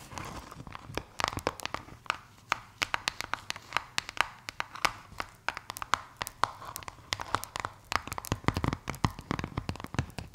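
Long white acrylic nails scratch and tap orange and purple Play Foam domes, made of polystyrene microbeads in a sticky binder, that sit in a plastic blister tray. The result is a dense run of sharp, dry clicks and crackles with a crunchy, crinkling texture. Each one cuts off almost at once with no ring.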